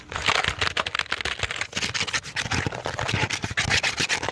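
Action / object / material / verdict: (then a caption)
tap / plastic computer keyboard / plastic / none. Fingertips tap the keys and rub the surface of a hollow black plastic computer keyboard, held upright and then tilted near the microphone. The result is a fast, dense stream of dry clicks and brushing scrapes, bright and hissy with short thumps underneath.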